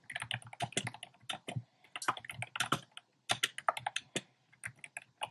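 Fingertips type on a compact plastic mechanical keyboard with a black plastic case and round pastel plastic keycaps. Rapid, uneven bursts of short, dry clacks with a bright edge and a soft low thump come in quick runs, separated by brief near-silent pauses.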